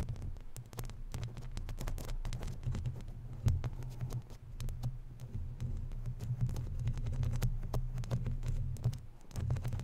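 Long natural nails scratch along the lower edge of a round, hollow, woven metal mesh microphone grille. The result is a dense, continuous rasping with many quick clicks, all heavy low rumble and throb near 86 Hz, with almost nothing high.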